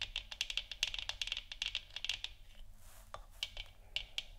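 Long nails tap rapidly on a hollow plastic moon lamp sphere resting on a wooden stand, moving along both sides and making quick, dry, bright clicks that die away almost instantly, with a clicky tone around 2.8 kHz. After about two seconds of dense tapping, the nails shift to a softer, hissy scratch, then return to a few sparser taps.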